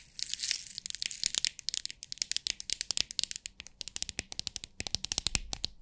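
Long acrylic nails tap and scratch the lid of a small rectangular clear plastic storage box with many compartments filled with loose rhinestones, then tilt the box so the stones rattle inside. It starts with a brief bright scratchy rustle, then a quick run of sharp, dry, high-pitched clicks and ticks that stop instantly with almost no low end.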